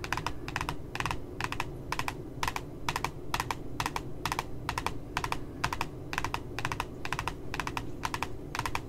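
Fingernails tap quickly along the bottom edge of a glossy cardboard notebook cover with a puppy design. The taps come in light, dry, clicky clusters, often doubled, at a steady brisk pace with bright upper edges. A low, steady background rumble runs underneath throughout.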